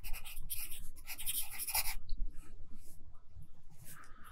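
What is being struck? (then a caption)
Pencil on paper notebook page. A pencil held in the right hand scratches across an open lined paper notebook with a handwritten page while writing. Quick, irregular strokes make bright, dry scratching bursts that stop and start, over a soft low rumble underneath.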